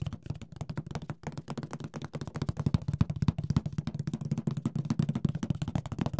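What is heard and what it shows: Fingertips tap and lightly scratch the lid and side walls of a large, rigid, hollow printed cardboard Mysterium board game box. The result is a steady stream of quick, dry, low hollow taps with almost no ring, coming rapidly one after another throughout the clip.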